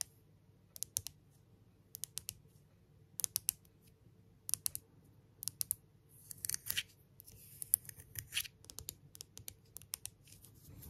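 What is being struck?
Smooth engraved stone pebble.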